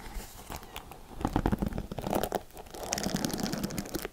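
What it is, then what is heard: Plastic paddle hairbrush bristles scratched. Long nails scratch and pluck the black plastic bristles of a paddle hairbrush with a silver plastic frame and rhinestone back. The result is a dense run of crackling, crinkly scratches and quick ticking plucks, louder in the middle and turning brighter toward the end.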